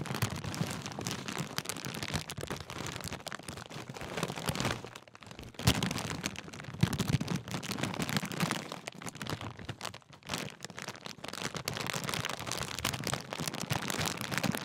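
Fingers crinkle and squeeze a large Walkers sharing-bag crisp packet made of thin metallised plastic with crisps inside. The result is a dense, continuous crackle with sharp, bright crunches over a low rustle. It drops briefly quieter around five and ten seconds before the crinkling picks up again.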